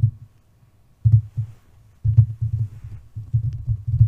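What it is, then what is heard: Metal microphone body tapped and rubbed. Long nails and fingertips rub, scratch and tap the hollow body and grille of a white metal USB condenser microphone. Heard up close as deep, muffled thumping and rustling bursts, with a quiet pause near the first second, then denser handling from about two seconds on.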